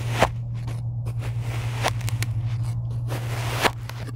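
A rocker blade slices lines across the surface of a tray of kinetic sand, making crisp, crunchy cuts with bright, gritty texture over a steady low hum. The slices come as a few sharp bursts between softer scraping and crumbling sounds.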